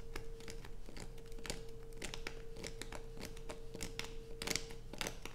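Fingernails scratch grooves into the top of a solid light-blue bar of soap held over a pile of shavings. The result is a rapid run of short, dry, crinkly scrapes with bright, gritty edges over a steady low hum, at a fairly even level throughout.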